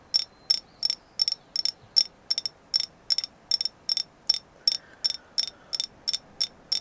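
A carved agate moon goddess figure is tapped in about twenty quick, evenly spaced bursts, each made of a few rapid clicks. The taps are bright, high and dry, with almost no low end, and each dies away almost at once.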